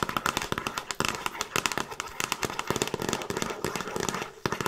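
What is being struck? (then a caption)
Cardboard DVD box set with glossy slipcase. Long nails tap and scratch the front and top edge of a handheld Frasier season DVD box set, a hollow box with discs inside in a glossy printed cardboard slipcase. Rapid, dry clicks and scratchy crackles follow one another with very short decay, bright and thin with little low end.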